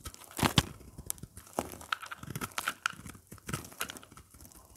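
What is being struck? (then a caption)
Bar of soap. A craft blade carves and scrapes crumbly chunks off the edge of a dry, hard, oval beige soap bar with embossed lettering, held in the hand. Quick, dry crunching and crackling scrapes come in a loose run of short bursts, each cutting off almost at once, with a louder crunch near the start.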